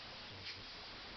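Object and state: Nothing is struck.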